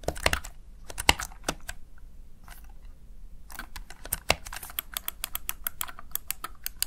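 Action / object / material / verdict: tap / plastic gaming keypad keys / plastic / none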